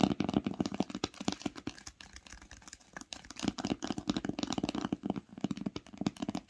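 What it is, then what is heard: Cloth-bound hardcover book. Long pink acrylic nails tap quickly on the top cover of an old green cloth-covered hardcover book with a solid paper block, lying flat on a knit blanket. The result is rapid, dry, muffled tapping with a soft low thump in each stroke and almost no ring. The tapping eases to a quieter patch midway, then picks up again.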